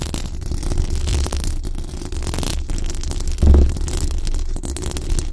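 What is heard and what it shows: Long acrylic nails and the fingertips of both hands scratch and brush the hollow, dome-shaped metal mesh grille of a large condenser microphone. The result is a dense, boomy rumble concentrated around a low 70 Hz, with a steady rough scratching texture and faint high hiss. A louder thumping swell comes about two-thirds of the way through.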